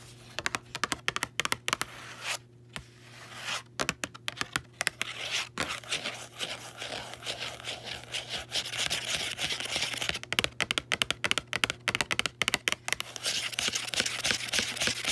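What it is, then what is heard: Paperback book cover tapped and scratched. Long nails tap rapidly and scratch across the front of a small, closed paperback copy of "On Tyranny," a solid book with a textured card cover and embossed print. The result is bright, dry clicks and crisp, papery scratching with almost no ring, over a faint steady low hum.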